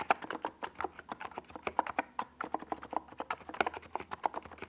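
Fingertips of both hands type steadily on a NiZ Plum Atom 68, a compact 68-key mechanical keyboard with a hollow white plastic case and purple and yellow Domikey Gas Attack plastic SA keycaps, resting on a desk pad. About 30 quick, dry keystrokes fall in an uneven rhythm, each a short clack centred near 785 Hz that dies almost instantly, with a few louder presses standing out.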